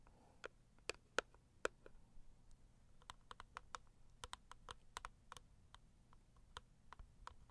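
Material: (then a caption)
Cardboard. Long acrylic nail tips tap the lid and front edge of a medium, closed, hollow pink floral cardboard gift box. The result is a quiet, irregular run of short, dry clicks with bright tops over a low hum. A few louder taps come early, followed by a steadier flurry of lighter ones.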